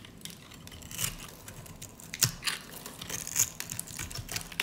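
A metal utility-knife blade scrapes and cuts along the scored surface of a hand-held solid pink rectangular bar of dry soap, shaving off small crunchy cubes. The sound is bright, dry crunching and scratching with uneven crackles and a few sharper snaps over a faint hiss.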